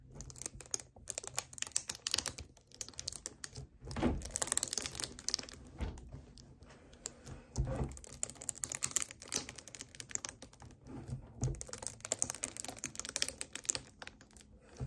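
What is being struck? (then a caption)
Thin plastic drink bottle. Fingertips and nails grip, tap and scratch the sides of a hollow 1 L white plastic strawberry kefir bottle standing on a table. The sound is a dense run of quick, dry clicks and crinkly scratches with bright, hissy highs and brief swells of hollow thumping, each tap dying almost instantly.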